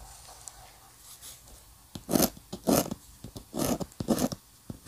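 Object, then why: Paper drawing sheet under a steel-nib dip pen. A steel-nib dip pen scratches short strokes across a flat paper sheet carrying an ink architectural sketch. After a quiet opening, there is a run of dry, bright scratching bursts, with four louder strokes among smaller ticks. Each stops sharply with no ring.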